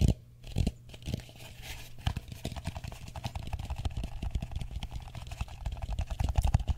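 Fingertips and nails tap rapidly on the dome and rim of a medium matte blue plastic bowl, hollow and empty, held upside down above the microphone. The result is a dense, continuous stream of short, dull, hollow taps and clicks with a deep low thump and very little ring.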